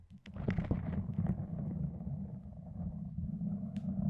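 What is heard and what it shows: Fingertips and long nails pull and peel a loose strip of red self-adhesive fabric bandage away from the layers wrapped over a microphone. The sound is a dense, muffled low rumble with soft crackling and a few brief brighter ticks as the strip comes away.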